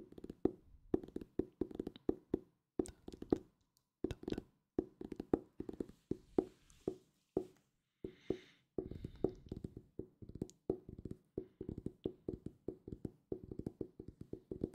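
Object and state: Hardcover book.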